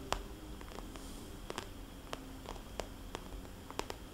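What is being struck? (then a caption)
Vinyl cosmetics bag. Long nails tap and trace circles on a small red polka-dot glossy vinyl cosmetics bag that sounds soft and hollow. Quiet, sharp clicky taps with a bright edge land at irregular intervals over a low, steady background rustle, each dying away almost instantly.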